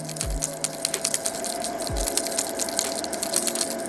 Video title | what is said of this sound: GRAND EDGE 190SF トリセツ-2［Advanced tips］ | 高い音が抑えられていると思うんですけども